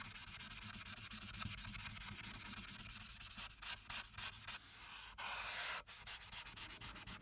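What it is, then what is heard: Marker strokes on paper sheet. A felt-tip marker, held by a hand with long painted nails, rubs over a flat paper colouring sheet clipped to a clipboard in repeated strokes. The result is a bright, hissy scratching made of quick back-and-forth strokes, broken by one longer, steady stroke before the rapid scribbling resumes.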